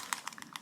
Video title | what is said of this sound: 포크아트 물감으로 에어브러쉬 하는 방법 / JOSONJA / 조소냐 / 아크릴 물감 / | 흔들면은 이렇게 구슬이 안에서 섞이는 그런 소리가 들리죠